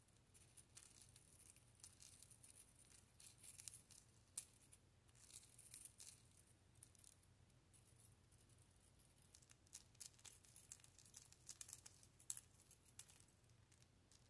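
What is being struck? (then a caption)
Small metal hoop earring with thin dangling bars. A small gold-tone metal fringe hoop earring with many thin dangling metal bars is handled and tapped with long nails. Quiet, bright jingling and rattling with scattered sharp ticks runs throughout over a low steady hum, the bars shaking and clinking together without settling.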